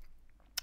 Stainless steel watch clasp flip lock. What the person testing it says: when wearing this glidelock clasp on the wrist you get this annoying tapping sound it's a rattling noise and it's constant